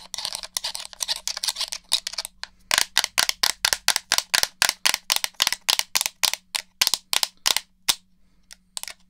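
A black hollow plastic PS4-style gamepad is held beside a dummy head's ear while fingertips and nails click its buttons and tap its shell. Quick, bright, dry clicks come in dense bursts at first, then settle into a steady run of separate sharp taps with almost no ring, thinning out toward the end.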